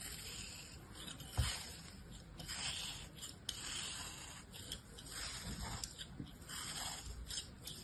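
A solid, palm-sized molded kinetic sand shape, held in a hand, is sliced with the blade of an orange plastic knife in a scraping, cutting action. Soft, gritty scraping hiss rises and falls in bright, high-pitched swells, with a few sharper ticks and a low thud near the start. The overall level stays quiet.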